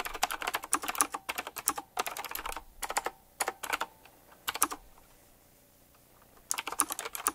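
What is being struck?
Mechanical keyboard with round plastic keycaps and metal rims.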